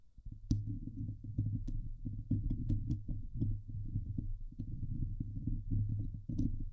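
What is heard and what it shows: Long nails scratch the hollow steel mesh dome grille of a Blue Yeti microphone, producing a dense run of low, boomy rubbing thumps with a steady low hum around 105 Hz. Occasional bright, brief ticks break through as the nails catch the mesh, and each scrape dies away quickly.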